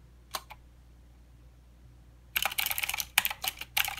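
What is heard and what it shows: Fingertips of both hands type on a plastic mechanical keyboard with clicky blue switches and plastic keycaps. Two quick, bright clicks sound early, then a pause of near silence. A dense, uneven run of sharp, high clacking follows to the end.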